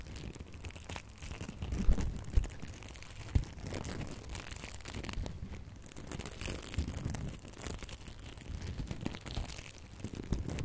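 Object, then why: Glitter ribbon bow. A gold and red glitter ribbon bow is held up close while long nails scratch and rub its glittery loops. The result is a steady, soft crinkling and scratching with occasional louder rubs and crackles over a low, dull rumble.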